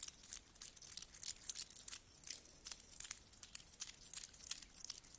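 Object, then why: Pile of metal coins. Fingers with long nails rummage and scratch through a large pile of solid metal coins. The result is a quiet, continuous stream of bright, dense clinking and jingling with very short metallic ticks. There is almost no low end.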